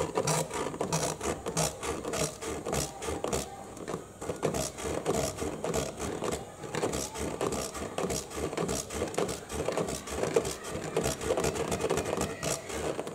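Short fingernails scratch and tap quickly on the green end panel near the top flap of a printed, medium-size, hollow UPS cardboard box held upright. A dense, irregular stream of dry scrapes and brisk hollow taps carries a papery midrange body with bright scratchy edges, sustained steadily throughout.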